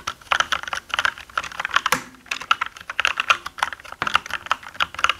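Both hands type with their fingertips on a black mechanical gaming keyboard with plastic keycaps. Quick, bright, clacky keystrokes come in rapid bursts, each with a sharp, dry click centered in the midrange. There are brief pauses just before the 2- and 4-second marks.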